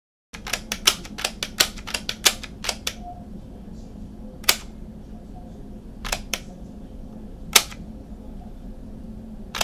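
Fingertips and nails tap and click the buttons and hollow casing of a small, handheld blue and black plastic portable cassette player held in both hands. Sixteen sharp, bright clicks come as a rapid burst at first and then thin out to scattered single taps, each dying away almost instantly. A steady low hum runs underneath throughout.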